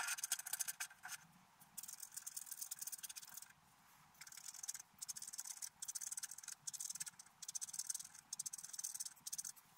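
A wooden stylus scrapes along the frame line of a flat, black-coated scratch-art card. Bright, dry, raspy scratching comes in short bursts separated by brief quiet pauses, with almost no low end.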